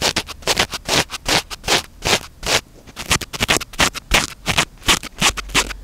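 Fingertips and short nails continuously scratch and rub a small, soft, porous black foam windscreen on a handheld microphone. The result is a rapid, irregular series of close, bright, hissy scratching bursts that swell and fade with each stroke. Each burst dies away almost at once, with little low end.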